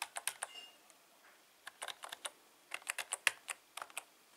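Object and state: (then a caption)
Plastic membrane keyboard being typed on. Fingertips of one hand type rapidly on a black, full-size Logitech K120 plastic membrane keyboard with Cyrillic and Latin key labels, its hollow plastic housing resting on a tablecloth. Quick, dry, bright clicks and taps come in bursts separated by short pauses, each keystroke dying away almost instantly with no low-end thump.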